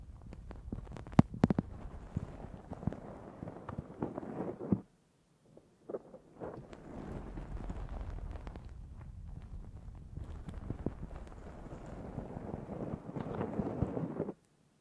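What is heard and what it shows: A black foam windscreen on a Zoom H6 recorder is scratched with the long nails of both hands. Dense, muffled scratching and rustling is heavy in the low end, with sharper crackles scattered through it. The sound stops briefly about a third of the way in, then resumes and continues steadily to the end.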